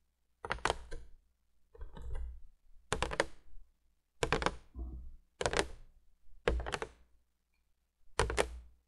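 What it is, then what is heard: Cardboard box tapped with fingernails. Long fingernails of both hands tap rapidly on the flat top of a printed cardboard candolier box lying flat on a wooden table. Seven separate bursts of quick tapping are heard, with quiet gaps between them. Each burst has a hollow, low cardboard thump under crisp nail clicks that die away almost at once.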